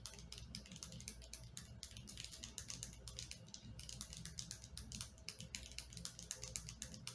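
Long painted nails rapidly tap and scratch the surface of a white plastic lotion bottle with a blue cap, which appears partly filled with lotion and is held in one hand over a person's leg on a bed. The result is a quiet, dense stream of short, bright, dry clicks and scratchy ticks that die away almost instantly, over a steady low rumble.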